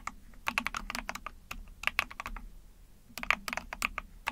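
Rapid key presses on a small 44-key Epomaker TH40 mechanical keyboard with an ABS plastic case, PC plate and backlit pink and white keycaps, typed with long painted nails and fingertips. Bright, crisp plastic clacks come in quick bursts separated by short pauses, each keystroke dying out almost instantly over a faint low hum.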